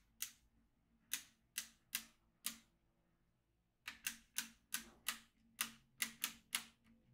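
A yellow magnetic pen is traced across the middle of a black plastic magnetic drawing tablet with steel beads, making the beads click. Fourteen sharp, bright clicks with almost no low end and very short decay come in two groups: five spaced clicks, a pause of more than a second, then nine quicker ones.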